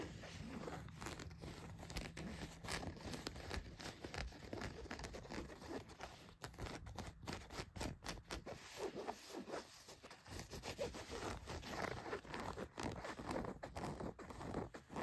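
Long nails scratch the back pocket and seams of blue denim jeans, making a steady stream of dry, rasping scrapes and crackly fabric rubs. The scratching runs continuously, with brief short strokes and quiet gaps between bursts.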